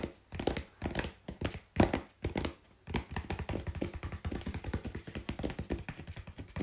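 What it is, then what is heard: Corrugated cardboard sheet. Both hands tap rapidly with long pink-painted nails on a flat brown corrugated cardboard sheet held at an angle on the lap. The soft, dull, low-heavy taps die away almost at once, coming in uneven bursts at first and then as a steadier, quicker patter.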